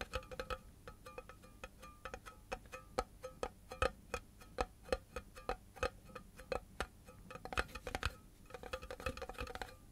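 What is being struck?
Cardboard composite can with metal rims.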